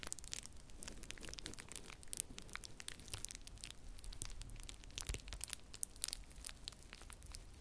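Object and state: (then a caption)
Plastic bubble wrap being crumpled. Clear plastic bubble wrap is held close to the mic and crumpled and twisted between both hands. A dense, steady stream of crinkling with sharp, bright pops and crackles fills the clip at a low overall level. Occasional louder pops stand out above the continuous rustle.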